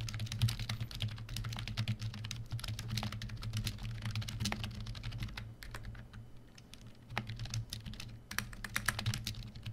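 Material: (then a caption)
Plastic. Fingertips of both hands type on a full-size black plastic membrane keyboard, the Koshi KB1388. Quick, soft, dry key taps rattle in dense runs over a steady low hum, easing into a brief lull before the typing picks up again.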